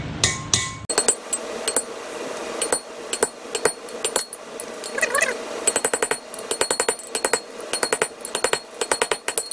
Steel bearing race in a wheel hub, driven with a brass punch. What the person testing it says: That sounds solid now.